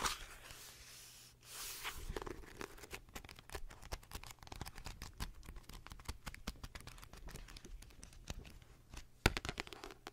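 Long nails scratch and rub the printed paper pages of a paperback manga book with a glossy colour cover, then the pages are turned. A soft, breathy rasp in the first two seconds gives way to a dense run of quick, dry scratches and crisp ticks, with one sharper snap near the end.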